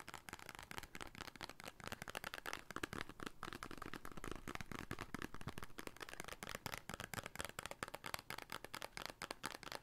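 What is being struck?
Small paper soap carton.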